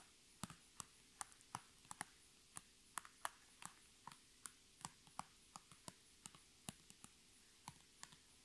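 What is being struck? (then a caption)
Thin PVC plastic pouch. Long red nails tap and scratch the surface of a thin, iridescent holographic PVC pouch held up in the hands. About 24 sharp, dry clicks fall at an unhurried, uneven pace, each bright and dying away almost instantly. A faint, steady high whine and a low hum run underneath.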